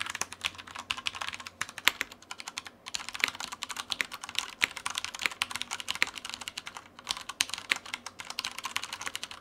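Continuous typing with the fingertips of both hands on a black tenkeyless Typhoon Mars Pro mechanical keyboard with Cherry brown switches and plastic keycaps, resting on a white desk. Many short, crisp, bright key clacks come in a steady irregular stream with a few brief pauses. The sound is high-pitched and dry, with no low-end thump.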